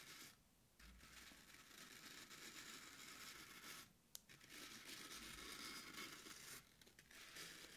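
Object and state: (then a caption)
Floral foam block being scratched. Very long pointed acrylic nails poke and scratch into the top of a solid, soft, porous, rectangular green floral (oasis) foam brick sitting on a wooden table. A steady, bright, crunchy scraping and tearing texture fills the clip, broken by a few brief quieter pauses and one sharp click partway through.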